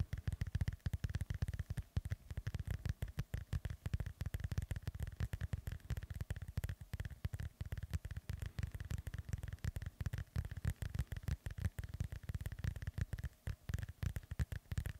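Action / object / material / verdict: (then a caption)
scrape / foam microphone windscreen / foam / none. A black foam microphone windscreen is rubbed and scratched with the fingertips of both hands. This makes a dense run of dull, deep thumping rustles with faint crackly scratching on top. The sound stays close and muffled throughout, with brief dips between bursts.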